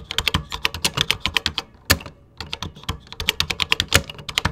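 Fingertips type quickly on the beige plastic keys of a vintage home computer keyboard. The result is a rapid run of sharp, bright clicks with light low thumps. There is a short pause after a louder strike just before the two-second mark, then the typing resumes.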